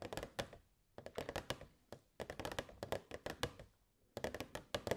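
Long nails tap the sides of a hollow, transparent plastic box with fairy lights inside. Quick, dry clicking taps come in rapid bursts separated by short pauses. Each tap has a hollow mid tone around 500 Hz and dies away almost at once.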